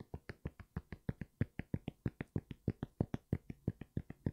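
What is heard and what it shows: Fingertips and nails tap quickly on the foam sole and knit upper of an empty grey NMD sneaker held upright. About 27 short, dry taps sound in an uneven, rapid rhythm, each a soft low thud with a faint brighter click and almost no ring.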